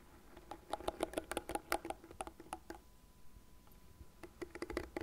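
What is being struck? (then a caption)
Plastic hairbrush. Long nails scratch across the fine plastic bristles of a light blue plastic cat-shaped hairbrush, lying bristle face up, and tap its frame. Quick, dry, bright clicks come in a steady run, fall to a quiet scratchy lull near the middle, then pick up again toward the end.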